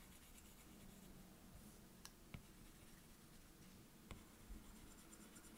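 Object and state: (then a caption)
Stylus scratching on a glass tablet screen. A plastic stylus tip is drawn and scribbled across the glass touchscreen of an iPad, making a soft, writing-like scratching over a low, steady background. Four brief, brighter taps or clicks stand out from the quiet scribbling, each dying away almost instantly.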